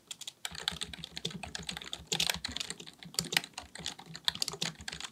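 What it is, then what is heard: Plastic computer keyboard being typed on. Both hands type continuously with their fingertips on a black, full-size plastic keyboard resting on a desk, likely mechanical with a hollow body. Rapid key taps come in a dense, uneven stream of bright, dry clicks that stop almost at once, peaking around 3 kHz over a faint low thud beneath each stroke.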